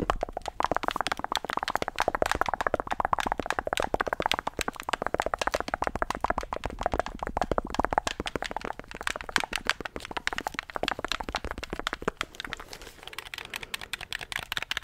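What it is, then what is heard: Plastic game controller. Fingertips rapidly click the buttons and tap the shell of a hollow, handheld black plastic gamepad. A dense stream of short, dry plastic clicks and taps runs throughout, with almost no ring. Toward the end the taps turn lighter and brighter.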